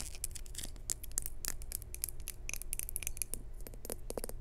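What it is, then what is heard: Ceramic lidded jar. Long nails tap on the textured surface of a small, hollow, maroon glazed ceramic jar with a lid. Rapid, bright, sharp clicks and light scratchy ticks follow one another over a steady low hum, each dying away almost instantly.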